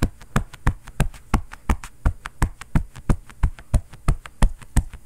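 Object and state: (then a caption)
Quilted fabric oven mitt. A bare fist rapidly pounds and knocks on a long, padded cotton oven mitt with a floral print, worn on the other hand. The soft, hollow mitt gives dull, deep thuds in a quick, fairly steady rhythm, each one dying away almost at once, with a faint bright tap on top.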